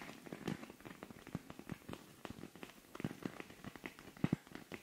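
Long nails scratch quickly across a silver rhinestone-covered cosmetic pouch with a pink zipper. The result is a rapid run of soft, dry clicks and rasps, each dying away almost at once, with a low body around 176 Hz and faint high sparkle.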